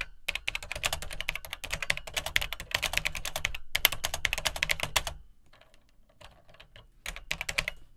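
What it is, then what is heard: Plastic home computer keyboard being typed on. Fingertips type on the dark plastic keycaps of an Atari 800XL home computer, whose hollow plastic case gives each keystroke a low thud under a bright, crisp click. A dense, rapid run of clacking keystrokes lasts about five seconds, then drops to a few faint, scattered taps before a quick burst of typing resumes near the end.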